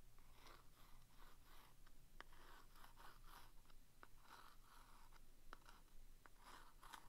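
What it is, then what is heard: Cardboard staple box. A thin wooden stick taps and traces across the front of a small, closed, green printed cardboard box of vintage Commander staples held in one hand. Soft, dry scratching strokes repeat in a steady rhythm, broken by a few sharp, light taps, all quiet and close.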